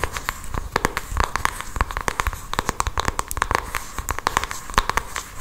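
Long acrylic nails tap and scratch across the surface of a small, hand-sized printed cardboard cosmetics box with a Benefit butterfly design. Quick, sharp, dry clicks come in an irregular stream over a scratchy, crackling texture, each tap dying away almost instantly with a faint tone near 1 kHz.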